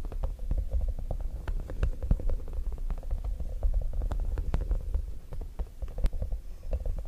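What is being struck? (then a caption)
Small soft rubber puffer ball. A small, soft, squishy yellow spiky rubber or silicone puffer ball is held in one hand and squeezed and rubbed by the fingertips of the other hand near a microphone, without touching it. A dense, low, muffled squishing rumble is heard, with many quick soft crackles and taps scattered throughout.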